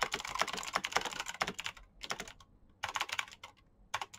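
Both hands type with their fingertips on a black plastic backlit mechanical keyboard with clicky switches. A dense run of short, bright clicks fills the first couple of seconds, then the typing slows into separate small bursts with quiet gaps between them. Each click is crisp and dies away almost at once.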